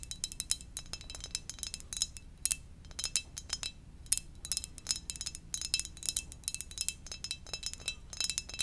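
Fingernails tap rapidly across the glazed surface of a hollow, glossy black ceramic mug shaped like a Darth Vader helmet. The taps make short, bright, high-pitched clicks with a faint glassy ring that cuts off almost at once. They come in quick, irregular bursts over a low, steady hum.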